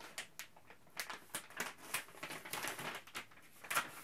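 A printed plastic Ziploc Zip'n Steam bag is held aloft and scrunched and crinkled by hand. Quiet, bright crackling bursts repeat irregularly and fade quickly, with a sharper crinkle near the end.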